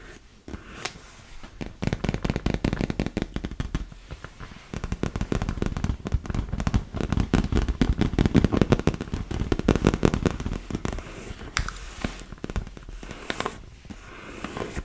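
Long nails tap rapidly on a large, hollow, inflated PVC vinyl beach ball resting against the microphone. The result is a dense, uneven patter of short, low, hollow thuds that die out almost instantly, rising and falling in intensity, with a brief bright crackle near the middle.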